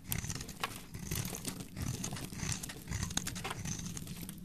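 A palm-sized solid cream-white bar of soap is held in a hand with long dark nails while a metal blade scrapes and carves its edge and face, shaving off flakes. The sound is a steady run of dry, crinkly scraping and crunching, with many short bright crackles over a soft low rumble.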